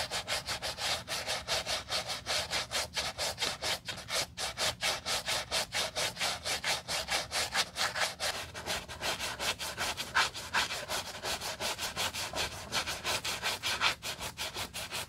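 A wooden block bristle brush scrubs the textured white rubber cupsole of a sneaker in rapid, slightly uneven back-and-forth strokes, about 42 in all. Each stroke is a bright, hissy scratch with almost no low end, fading quickly before the next one.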